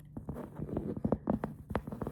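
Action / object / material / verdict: tap / plastic storage bin / plastic / none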